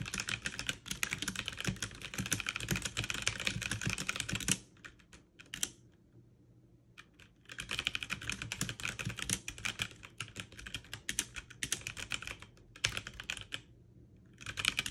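Fast two-handed typing with fingertips and long nails on a backlit mechanical keyboard with plastic keycaps produces dense bursts of bright, clicky keystrokes. The typing pauses for a few seconds around the middle, with only scattered taps. It then resumes in rapid runs before another brief pause near the end.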